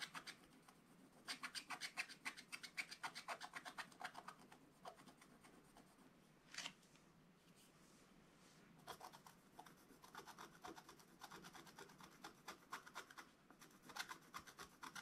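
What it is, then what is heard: Scratch-art paper being scratched. A wooden stylus scratches into a flat, black wax-coated scratch-art paper page, working on a dog figure while the other hand steadies the page. Quick runs of short, dry, bright scraping strokes come in bursts separated by quieter pauses, with one sharper, louder stroke partway through.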